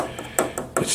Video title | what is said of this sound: Pioneer VSX-915 (2005) review | I think it's metal above plastic. It sounds hollow, even this one.